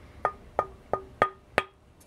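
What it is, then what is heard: Dense hardwood fingerboard blank with a glassy tap tone. A dense cocobolo or leopardwood fingerboard blank is tapped five times, each tap giving a short, bright, glassy tone pitched near 1.2 kHz that dies away quickly. It sounds much like the other blank but slightly different in pitch, and still very glassy.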